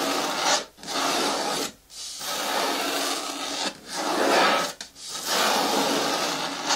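Fingertips and nails of one hand rub the side of a green hard plastic bucket bin with a lid and handle. A dry, bright scratching hiss with no low end comes in five long, steady strokes, each separated by a brief silent pause.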